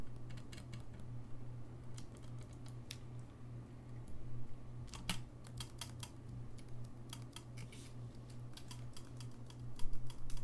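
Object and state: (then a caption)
Saxophone keys tapped. Fingertips tap the keys of a gold-lacquered brass saxophone, its bell in view, making quick, dry, bright clicks at an uneven pace. A steady low hum runs underneath throughout, and the tapping grows louder near the end.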